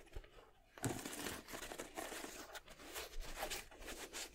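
An empty white and red Jordan 7 sneaker with a leather/nubuck upper is held upright while fingers and nails scratch and tap its upper and tongue. After a quiet first moment, a steady, dry, crinkly scratching fills the rest of the clip, with soft taps mixed in.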